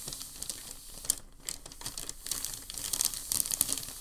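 A hand smooths and rubs a large, thin, creased sheet of crumpled packing paper on a dark surface with its fingertips and palm. The result is a quiet, steady, bright crinkling and crackling, with sharp high snaps scattered throughout and a brief lull near the middle.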